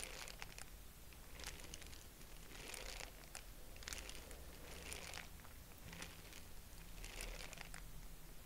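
A purple tissue-paper honeycomb is stretched open and closed between both hands, producing soft, bright crinkling and rustling bursts that swell and fade in a steady rhythm. A faint low hum runs underneath throughout.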